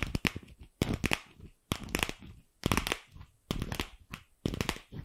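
Long nails tap and scratch a single empty, fist-sized pink hollow plastic ball while it is turned around close to the microphone. Clustered bursts of sharp, crackly clicks and scraping alternate with brief quiet gaps, with a hollow low body under bright, dry ticks that die away almost instantly.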